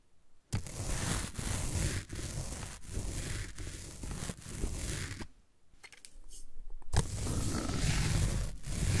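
A small derma roller with a metal-needle head is rolled back and forth across the top of a large, solid green floral foam block, producing a dense, crunchy scratching texture with a low-heavy body. The rolling comes in repeated strokes broken by short dips and a brief quieter pause before resuming strongly, leaving the foam surface scratched and crushed.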